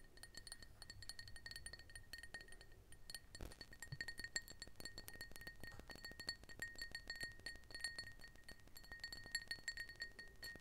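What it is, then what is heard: Empty glass tumbler. A small, clear, empty glass tumbler is turned in both hands while long nails tap and clink on its walls and base. Many quick, light clinks come at an uneven pace with a bright, short ring near 1.9 kHz and high overtones. A low background rumble runs underneath.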